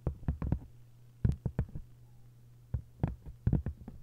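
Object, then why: Paper-covered hardcover book. Long nails tap and scratch on an open hardcover book with a textured paper cover, making soft, dull taps in uneven bursts. The sound is mostly low and muffled, with very short decays and a steady low hum underneath.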